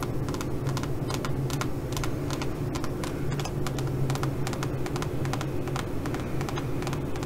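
Long nails tap and scratch a flat silver fabric pouch with a crinkled metallic coating, making quick, irregular crisp clicks and bright crinkly scrapes. The clicks sit over a steady low hum at an even level throughout.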